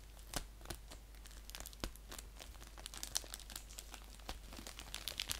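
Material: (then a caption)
Paper. Fingers crinkle and scratch the plastic end of an orange padded paper mailer envelope lying flat. The result is a quiet, steady run of dry, bright crackles and sharp scratchy ticks with no ring, over a faint low hum.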